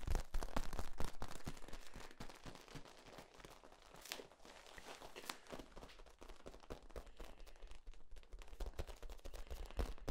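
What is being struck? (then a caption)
Flexible corrugated plastic tube. Fingertips squeeze and pop the ribs of a long, hollow, ribbed, flexible yellow corrugated plastic tube held bent. The result is a fast, uneven stream of short, dry clicks and crackly pops with a dull low thump beneath, each dying away almost at once. It is loudest at the start, softens through the middle and builds again toward the end.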